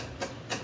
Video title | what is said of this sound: REVIEW: Xiaomi "Multi-Mode" Gateway 3 (Upgraded Firmware) | this is made of plastic and it sounds like it's hollow inside it means there's enough space inside